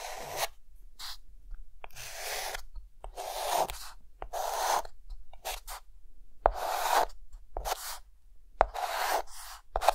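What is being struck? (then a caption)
Chalk stick on a slate chalkboard. A white chalk stick is drawn in circles across a flat, solid dark green chalkboard. Bursts of dry, broadband chalk scratching with a midrange body and bright, hissy top come in uneven strokes. Sharp taps of the chalk against the board are scattered among them.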